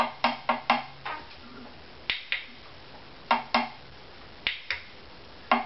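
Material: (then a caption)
Spruce wood. Sharp, dry taps on the waist of a wooden violin body, behind the G string, each giving a short resonant knock with a tap tone around 238 Hz that dies away in about a tenth of a second. Eleven taps are heard in uneven groups. The tap tone in this area is judged a little bit low.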